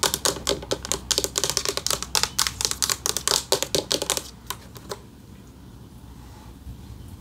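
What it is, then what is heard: Metal plaque tapped with fingernails. About five seconds of quick, uneven fingernail taps, sharp and high like typewriter keys, with hardly any ring after each one. Then the tapping stops and only faint room quiet remains. The plate is stiff and held in the hands, so it clicks rather than sings.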